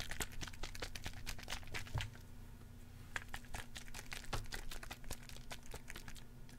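A small red plastic spray bottle with a white pump cap and liquid inside is held in one hand and shaken close to the microphone. Dense, quick plastic clicks and crinkly rattles come in a steady run, with short bright snaps over a low, constant hum.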